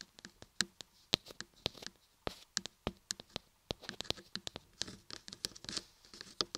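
Long nails and fingertips tap and scratch the carved ears and top edges of a solid carved laundry soap block, giving dense, quick, crisp clicks and scrapes. The sound is bright and dry, with very short decay and a quiet background between strokes.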